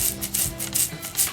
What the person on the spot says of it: when you shake it, can you hear that? You can hear the eyeballs shake